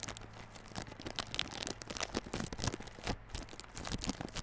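Fingertips and nails scratch and tap the clear plastic wrap on a small yellow cardboard Realme Buds Classic earphone box. The result is a steady stream of soft, crinkly rustles and light taps with a bright, papery edge and a faint low hum underneath.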